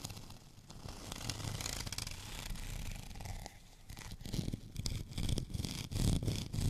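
Fingernails scratch across a white, bumpy, textured plastic rolling pin. The result is a continuous dry rasp with a rumbling low body and a bright, gritty edge. The scratching grows louder and more choppy toward the end.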